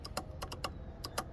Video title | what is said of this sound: Triumph Street Cup/SC Project Exhaust | you just shake it and you can hear it rattling